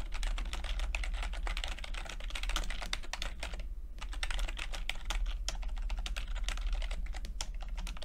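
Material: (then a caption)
Plastic. Fingertips tap the plastic keycaps of a backlit chiclet computer keyboard in a steady stream of quick, light clicks with short, bright attacks. A brief pause comes near the middle, and a low, steady hum runs underneath throughout.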